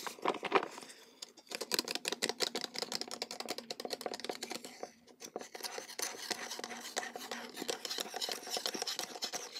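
Long gold-polished nails scratch and rub the surface of a hollow, teal printed cardboard tea gift box with a satin ribbon and a paper tag, held in the hands, and also scratch the tag. Rapid, dry, bright scratches and taps come in quick, dense bursts with a thin, crisp texture and no low rumble, pausing briefly before continuing steadily.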